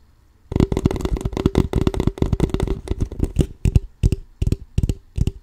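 Fingertips and nails tap and scratch the ridged sides of an empty, crumpled, clear plastic water bottle of about 0.5 L with a label, held sideways in both hands. After a moment of silence, quick hollow, thuddy taps with a faint crinkle come in dense bursts, then thin into shorter, separated clusters toward the end.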